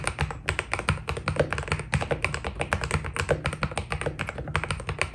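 Fingertips type steadily on a white Keydous NJ80 mechanical keyboard with PBT plastic keycaps. Each quick, dry key press lands as a crisp tap over a deep, low thock, and the presses run continuously with little ring after each one.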